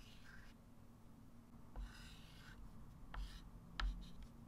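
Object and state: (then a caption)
Chalk writing on a chalkboard. A white chalk stick writes and circles numbers on a small, solid, wood-framed flat chalkboard. Soft, bright scratching strokes are broken by a few sharp taps over a quiet, steady low hum.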